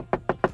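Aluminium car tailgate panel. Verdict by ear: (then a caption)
Hollow. Three quick knocks on the aluminium tailgate of a Toyota GR Yaris give a hollow, woody-sounding tap centred in the mids, each dying away almost at once. The lightweight aluminium panels sound hollow, part of the weight-saving design that saves 24 kg.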